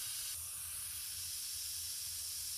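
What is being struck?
Nothing is struck.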